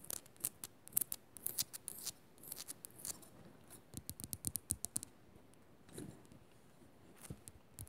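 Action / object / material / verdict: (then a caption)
scrape / rock-salt lamp / rock salt / none. Long nails rapidly scratch and tap the crystalline faces of a solid pink Himalayan rock-salt lamp. The result is quiet, close, bright scraping bursts and short, dry clicks that stop instantly with no ring. A brief lull sits near the middle before a few more taps.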